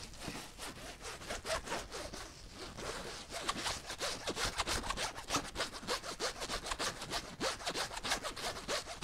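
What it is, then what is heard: Fabric zipper pouch being scratched. Long nails scratch the fabric surface of a flat, empty-looking teal zippered pouch with a rainbow print. It makes a rapid, uneven run of dry, bright rasping strokes, about three per second, each short and crisp with no ring.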